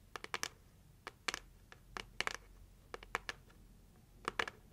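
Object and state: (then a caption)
Cardboard gift box tapped with fingernails. Long white acrylic nails tap and scratch the closed lid of a hollow red heart-shaped cardboard gift box with a gold swirl print, held against the chest. About fifteen quick, bright clicks come in small clusters, each dying away almost instantly, with soft scratchy rustles between them and little low end. The overall level stays quiet.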